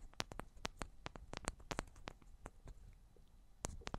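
Long black nails tap the tops and sides of two identical silver metal cylindrical microphones, producing a quick run of sharp, dry clicks. Each click has a bright top and a low thump underneath, with no ringing. The taps come in uneven bursts, pausing briefly before a final cluster.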